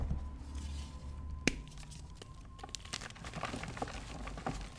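Fingertips with short, dark-painted nails squeeze, crumble and rub apart a hand-sized pink-and-white block of solid gym chalk (magnesium carbonate) over a blue plastic tub, where other chalk blocks sit beside it. Soft, dry crunching and crinkly crumbling run over a low background hum, with one sharp crack standing out early on. The block breaks into pieces and releases powder.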